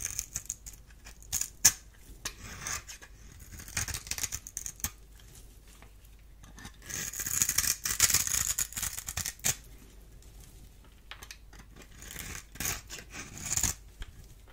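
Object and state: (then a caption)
Dry bar soap being carved. A small metal blade carves and scrapes a solid, dry green bar of soap held in the hand, with crumbs falling away. The sound is a bright, crisp scraping with sharp little clicks, building into longer, louder rasping passes around the middle and again near the end.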